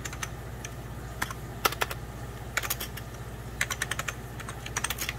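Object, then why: Plastic computer keyboard. Fingertips of both hands type on a hollow, beige 1990s Packard Bell plastic computer keyboard. Quick, bright plastic key taps come in uneven bursts, each dying away almost instantly. A steady low hum runs underneath throughout.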